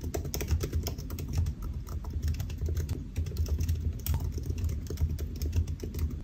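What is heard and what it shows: Fingertips of both hands type steadily on the black plastic keys of a solid silver aluminium laptop resting on a white desk. The rapid, continuous key taps are short and dull, with most of their energy in a low thud and only faint brighter clicks, and they die away almost instantly with no ringing.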